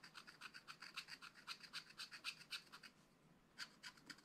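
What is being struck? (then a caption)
Black-coated scratch-art card scraped with a wooden stylus. A wooden stylus scratches tree trunks into the black-coated card of a flat, spiral-bound scratch-art pad. About 23 quick, bright, dry scratching strokes come in a steady rhythm, pause briefly near the three-second mark, then resume with a few more strokes.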